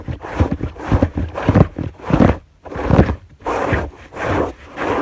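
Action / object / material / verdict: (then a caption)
scrape / fabric bed sheet / fabric / none. Both hands rapidly scratch a white fabric sheet on a bed with long nails. The result is bursts of dry, rough scratching and rustling, heavy in the low end, separated by brief quiet pauses.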